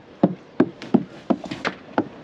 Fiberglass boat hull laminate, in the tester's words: là il y a la cloison derrière c'est normal que ça sonne pas creux